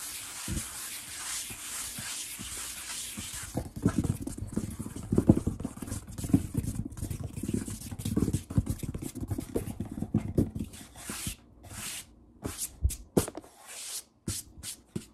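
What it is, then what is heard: Wooden tabletop. Fingertips of both hands tap and drum quickly on a large, solid wood-grain tabletop. After a few seconds of soft hiss, a dense run of short, dull knocks and patters begins, weighted low with a quick decay and little ring. Toward the end the drumming thins out into scattered, sharper taps separated by brief silences.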